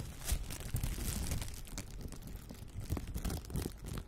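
A clear, thin plastic shower cap is bunched, crumpled and rubbed between the fingers near the microphone. The result is a steady stream of soft crinkling and rustling with brief crunchy bursts, mostly low and muffled, with occasional brighter crackles.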